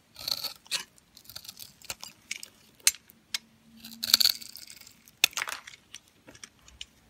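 A metal utility knife blade scrapes and shaves pre-scored cubes off a solid, pale yellow, translucent bar of dry soap held in the hand. The result is a string of short, dry, bright crunches and crumbling scrapes with almost no low end.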